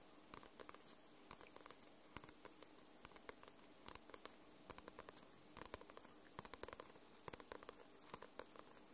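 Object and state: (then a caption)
Paperback book tapped with nails. Long nails tap and scratch across the glossy paper cover of a paperback book. The result is a quiet run of many short, dry, bright clicks and light scratchy crackles over a low, steady hiss, each tap dying away almost instantly.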